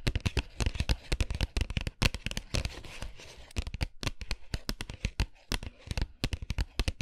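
Fingernails rapidly tap and scratch the printed surface of an upright cardboard dark chocolate box held in both hands. The quick taps are dry, deep thumps with bright clicking edges, and a brief stretch of rough, hissy scratching runs through the middle. Each tap dies away almost at once.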